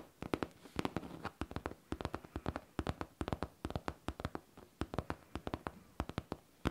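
Long painted nails tap and scratch the smooth, curved top of a hollow pink faux leather backpack. Quick clusters of sharp, dry clicks have a dull, hollow low body and stop almost at once, with faint scratching between the bursts.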